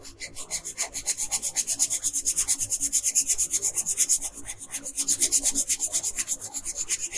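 A wooden colored pencil rubs quickly back and forth on a thin paper coloring sheet lying flat on a table, filling in the skin area. It makes a dry, bright, scratchy hiss in rapid, steady strokes, each swelling and fading, with almost no low end. Two brief pauses break the strokes.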